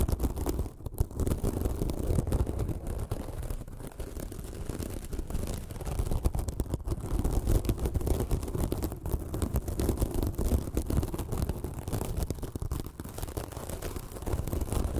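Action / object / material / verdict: scrape / foam sponge / foam / none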